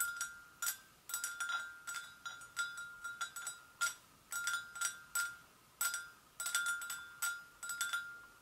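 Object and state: Porcelain gravy boat.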